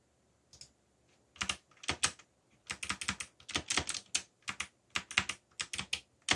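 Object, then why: Plastic mechanical keyboard. Fingertips type steadily on the plastic keycaps of a backlit black plastic mechanical keyboard. About 22 crisp, bright clicks with very short decay come in quick, uneven bursts after a brief quiet start.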